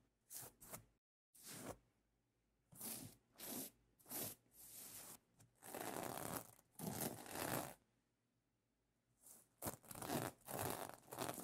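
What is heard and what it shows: Fingertips with dark-painted nails scratch and brush across the reversible plastic sequin fabric of a soft pillow cover, flipping the sequins. The result is a series of short, bright, rustling scrapes and longer tearing-like swishes, separated by brief pauses.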